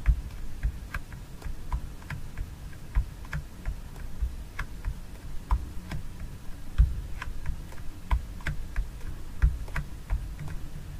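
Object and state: Plastic jar of fragrance gel tapped with fingernails.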